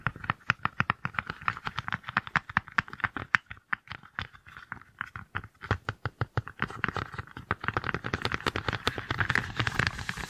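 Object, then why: Small silicone pot-holder mitts. A matched pair of small, hollow, cup-shaped green silicone pinch mitts is held close and tapped and squeezed with long nails and fingertips. The result is a rapid, steady run of short, dry, rubbery taps with no ring. The taps are bright clicks over a soft, hollow thump, and they grow denser and busier toward the end.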